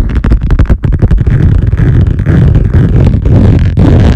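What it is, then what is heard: Laminate lap desk, scratched and tapped. Long painted nails of both hands scratch and tap fast on the large, flat surface of a wood-grain laminate lap desk. The sound is a loud, dense run of low, thumping taps blended with rough scraping, with quick separate hits at the start that merge into a nearly continuous rumble.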